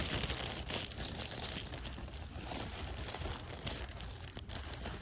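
Fingers crinkle, rub and handle a thin, empty, hand-sized printed plastic valentine gift bag with a frog design. The result is a continuous, irregular stream of bright crackly crinkling over a steady low rumble throughout.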